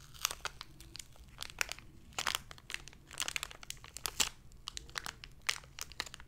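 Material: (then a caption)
Plastic. Long red-painted nails and fingertips crinkle and squeeze a small, hollow, clear plastic blister package holding a lanyard, with a printed card insert. The result is a dense run of bright, sharp crinkles and crackles in irregular bursts, each snap dying away almost instantly over a faint low hum.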